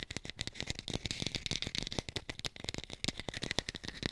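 Fast tapping on an artificial pear, recorded hi-fi. A rapid, steady stream of dry, short taps with almost no ring, carrying a bright, clicky edge over a light low thump.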